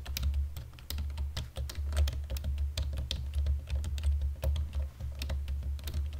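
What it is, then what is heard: Plastic computer keyboard being typed on. Fingertips and nails of both hands type quickly on a black plastic computer keyboard in dim light, making a steady run of sharp, bright key clicks over a strong low hum.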